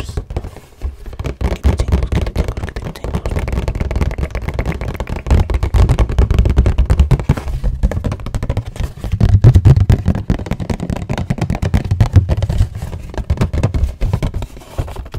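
A hollow rectangular cardboard tissue box, printed green on one side and floral on the other, is held in both hands and turned while fingertips and nails tap its cardboard faces quickly. The result is a dense, rapid run of dull, low, hollow thuds that die away almost at once, with bursts that grow louder and softer across the clip.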